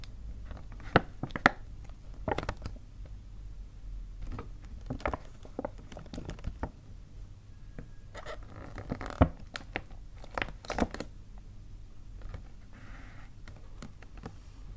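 Fingertips and painted nails tap quickly on the front face of a hollow white paper gift bag. Soft, dry papery taps and light crinkling scratches come in irregular bursts over a low, steady rumble, with a few sharper clicks standing out.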